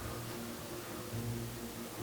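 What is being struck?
Nothing is struck.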